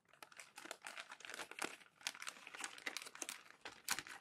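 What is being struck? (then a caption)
Glossy magazine paper pages. Hands rub and flatten crinkled glossy magazine pages on a tall stack and turn the sheets. It makes a quick run of dry, bright crinkling and rustling bursts with no low end, each dying away almost at once.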